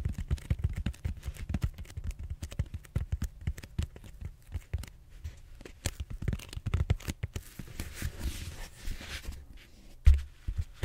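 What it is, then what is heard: Foam roller being scratched. Fingertips and short nails scratch the textured surface of a large, solid purple foam back roller held horizontally. The result is a quick, dense run of dry scratching and rubbing strokes with a low, muffled thump in each. A brighter hiss briefly rises near the end before one louder bump.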